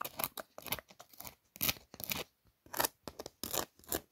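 Long nails trace and scratch over the raised glitter-glue lettering on a pink paper birthday card. The result is a quick series of short, crisp, bright scratching bursts with brief pauses between them, quiet overall with little low end.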